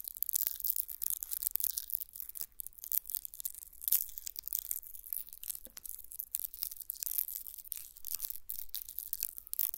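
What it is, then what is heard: Onion with dry papery skin. A whole brown onion held close to the microphone has its dry, papery outer skin scratched and crinkled with a long fingernail. The result is a soft, steady stream of bright, crackly rustling with quick scratchy bursts and a faint low hum underneath.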